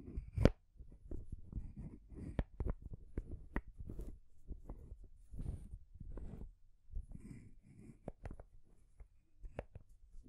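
Long nails tap and scratch the wooden ball top and solid painted wood rings of a small rainbow wooden stacking ring toy. Quiet, dull, low-heavy taps with very short ring sit among soft scratching rustles, with a few sharper clicks.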